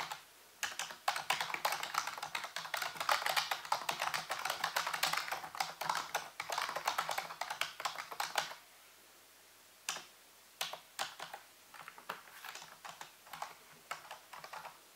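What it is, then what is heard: Plastic computer keyboard being typed on. Fingertips type rapidly on a full-size black plastic computer keyboard with hollow keys, set on a white base. A dense, fast stream of bright, short plastic clacks runs for about eight seconds, then stops briefly before sparser, scattered key taps resume through the end.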